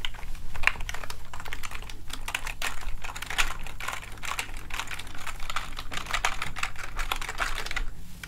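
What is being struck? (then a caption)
Plastic keyboard keys. A plastic gaming keyboard is held upright while a small cleaning gel blob is rolled and pressed over the keys with the fingertips. The keys give a dense, steady stream of quick, light clicks and taps over a low, constant hum.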